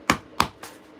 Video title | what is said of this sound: The Paper Engineer is live building the stand for the hammerhead corvette! | Although it's hollow, it's still a tough tough piece.